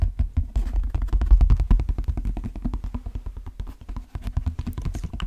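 Fingertips tap and scratch the shaft of an empty brown leather cowboy boot with a stitched pattern. A quick, uneven run of soft, dull, low thumps follows, each dying away at once, with faint scratchy brushing between them.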